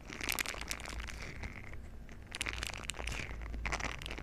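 A green silicone scrubber pad with bristle nubs is bent and squeezed in both hands while the bristles are rubbed together with fingers. Bursts of bright, crinkly crackling and rubbing, centred around 2.4 kHz, rise and fall over a steady low hum. The sound is dry, with no ring after each burst.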